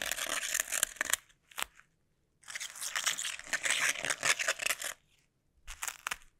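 Fingertips wrapped in sticky tape press, scratch and peel at a flat sheet of clear plastic bubble wrap laid on a table, with long nails also brushing its surface. The result is dense, bright crackling and sticky tearing noises in irregular bursts, with a long busy stretch in the middle and short pauses of near silence between groups.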